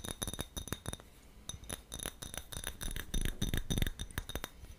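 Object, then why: Small glass jar with metal screw lid. Fingertips and nails tap and scratch the sides of a small, empty, clear glass jar with a gold metal screw lid, held in both hands. Quick, irregular clinking taps mix with soft scratching, each tap giving a brief, bright glassy ring that dies away almost at once.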